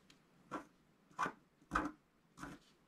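A wooden stylus scratches across a flat scratch art sheet with a black coating on paper, making four short, quiet scraping strokes. Each rasping stroke is strongest in the midrange, with a light bright hiss, and dies away quickly.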